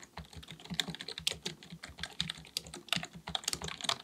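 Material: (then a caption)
Plastic. Both hands type continuously with their fingertips on a black, full-size plastic keyboard with a hollow body, likely mechanical, resting on a desk. Rapid, bright, clicky key taps come in quick irregular bursts, each ending sharply with a faint low thump beneath.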